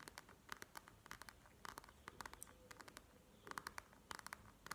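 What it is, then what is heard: Plastic gel-bead eye mask. A plastic gel-bead eye mask lies flat on a table while long nails tap and scratch across its beaded surface. Quick, bright clicks with a crisp midrange tone come in irregular bursts over a faint rustling scratch, each tap dying away almost instantly.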